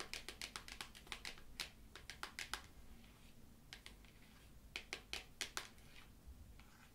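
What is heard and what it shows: Long matte black nails tap a small rectangular printed cardboard "Tarot Familiars" tarot deck box, probably full of cards, held in one hand. Quick, crisp, bright clicking taps come in bursts, with a quieter pause in the middle. Each tap stops almost instantly over a soft, low background hiss.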